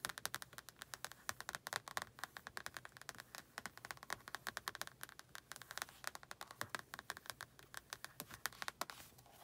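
Long nails scratch the cover and exposed page edges of a solid orange and red paperback book in a quick, steady run of short, dry scrapes. Each stroke is a brief, bright rasp with almost no low end or ring. The scratching stays quiet and even throughout.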